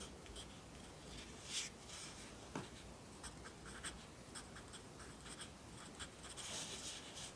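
A yellow wooden graphite pencil writes on an open lined paper notebook resting on a desk, one hand holding the page flat while the other writes. The pencil tip makes a quiet, continuous, bright scratching on the paper, with brief louder strokes standing out now and then.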